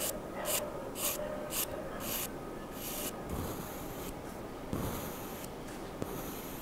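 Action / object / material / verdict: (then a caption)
scrape / charcoal pencil on drawing paper / paper / none. A hand draws fine hatching strokes with a sharpened wooden charcoal pencil on a sheet of flat white drawing paper. The result is a continuous scratching of pencil on paper, with short, bright strokes repeating at first and then longer, steadier strokes. A soft, low background hum sits underneath.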